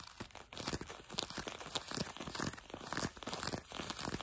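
Fingertips and nails rapidly scratch blue denim jeans fabric stretched over a leg or knee close to the microphone, possibly with some light tapping. A dense, continuous run of scratchy, crinkly friction strokes is heard, with a bright, hissy texture and little low end.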